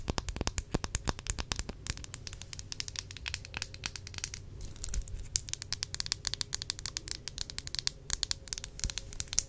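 Long acrylic nails tap and scratch the sides of a small, square glass perfume bottle with a round green cap, partly filled. The result is a fast, steady stream of sharp, bright clicks with no ring, mixed with dry scratching over a faint low hum.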